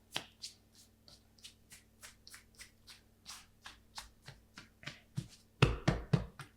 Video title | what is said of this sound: The Mystery of Bulk Fermentation | it's full of air that's a good sign as well you can hear that sound when you tap it